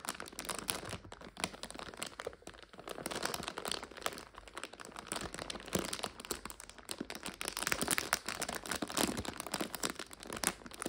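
Long acrylic nails and fingertips scratch, tap and squeeze a medium clear plastic bag with a printed label, full of dried egg noodles and standing on a sofa. The result is nearly 11 seconds of dense, bright crinkling with quick crackles and crunches. It grows slightly louder toward the end.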